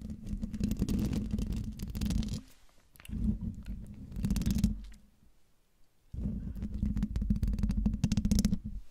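Long dark nails scratch and tap the hollow metal mesh grille of a silver Blue Yeti microphone, producing dense, low, rumbling scrapes with a steady hum near 210 Hz. The sound comes in three bursts, with quiet gaps where the hand moves off the mic.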